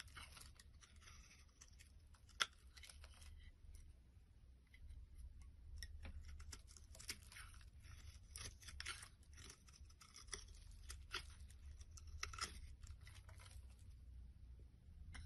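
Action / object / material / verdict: scrape / soap bar / soap / none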